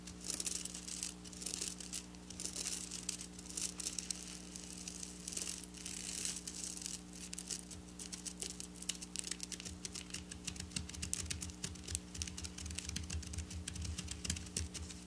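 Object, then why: Sequin fabric with metallic plastic sequins. Long black nails scratch quickly back and forth over the rows of a flat silver sequin fabric lying on a table. It makes a dense, bright, crinkly rasp of rapid tiny clicks over a steady low hum, with a low rumble joining in during the second half.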